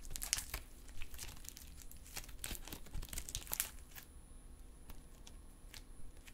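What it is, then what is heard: Metallic stress putty being stretched and squeezed. Silver metallic stress putty is held in both hands while fingers pull it into strands, then squeeze and fold it back into a lump. Quick, bright sticky crackles and popping clicks come in dense bursts, thinning out toward the end over a low, steady background.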